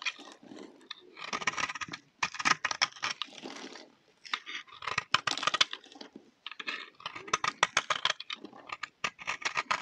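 A utility knife blade scrapes a solid, round, dry pink soap bar held in the hand, shaving it into crunchy flakes. The result is a run of dry, bright scratching and crackling strokes in uneven bursts, with short pauses between them and almost no low end.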